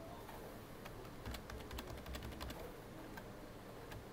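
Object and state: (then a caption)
Plastic computer keyboard being typed on. Both hands type rapidly with their fingertips on a full-size black plastic computer keyboard with hollow key housings, resting on a desk. Quiet, sharp, short clicks and taps with almost no ring come in a steady patter that grows busier and a little louder in the middle before thinning out again, over a low rumbling background hiss.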